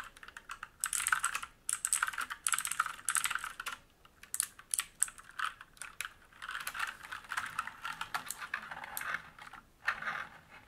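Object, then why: Mechanical keyboard with plastic keycaps and metal plate. Fingertips type on a black mechanical keyboard with plastic keycaps and a metal top plate resting on a wooden desk, with hands briefly touching the keyboard edges. Quick bursts of sharp, bright clicking keystrokes come in uneven runs separated by short pauses. Each tap is dry and dies away instantly, with almost no low end.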